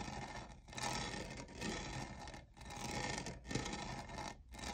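Fingernails scratch the textured lower side of a tall, hollow, lavender plastic studded tumbler with jewel-like studs that appears empty. A dry, bright, raspy scraping runs in several strokes, each broken by a brief pause. Each pass has a soft, low hollow undertone.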